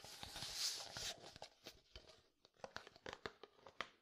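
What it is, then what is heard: Plastic jar tapped and scratched. Fingertips and nails scratch and tap a medium frosted plastic jar with white contents. It opens with about a second of bright, hissy scratching, then moves to a series of quick, dry, irregular taps with a hollow plastic click and almost no ring.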